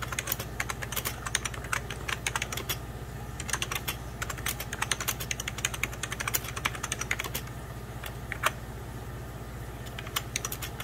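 Fingertips of both hands type steadily on a hollow, beige 1990s Packard Bell plastic computer keyboard. The result is a rapid, uneven stream of bright, short plastic clicks and taps over a steady low hum. A slightly louder tap stands out near the end.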